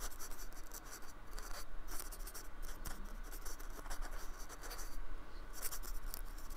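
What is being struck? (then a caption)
Polystyrene foam slab brushed with a paintbrush. A paintbrush is stroked and scratched across the textured, painted surface of a small, solid, flat slab of white polystyrene foam lying on a wooden table. It makes a steady stream of dry, scratchy brushing and rasping strokes with brief bright scrapes, over a low, quiet background rumble.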